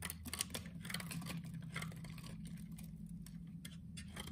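A solid green soap bar held upright in the hand has its edge cut and shaved into small pieces with a utility knife blade. Quiet, crisp, bright scraping and slicing strokes come in short bursts over a steady low hum.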